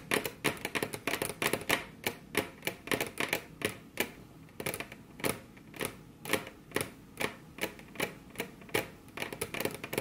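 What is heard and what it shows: Very long curved fingernails on both hands tap their tips against a flat, solid, glossy dark-brown wood-grain table top. Some 44 sharp, bright clicks come in quick irregular bursts and fade almost at once, with a hard attack centred near 1.9 kHz and little low end.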